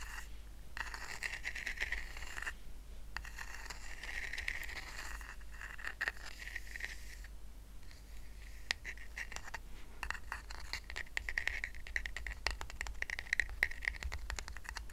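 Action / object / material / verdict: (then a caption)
scrape / woven rattan coaster / rattan / none. Fingernails quickly scratch and tap the woven strands of a small, round, flat woven rattan coaster resting on a blanket. Soft, raspy scratching around 2 kHz is broken by a rapid run of tiny dry clicks. A steady low hum sits underneath.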